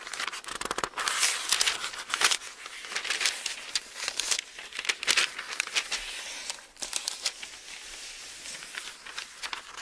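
Continuous high, papery crackle and soft swishes with no low body and no ring; each flick dies at once. It is the light, crisp rustle of very thin book pages turned and rubbed between fingertips, in a quiet small room.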